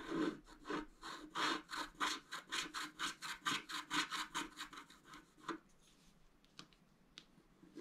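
A wooden stylus scratches repeated hatching strokes into a flat scratch-art card (black coating over colored foil) lying on a table, drawing a tree. About 19 quick, rhythmic scratching strokes with a bright, raspy rub come in a steady back-and-forth run for roughly five and a half seconds. The strokes then fade to near silence, broken by a couple of faint, isolated scratches.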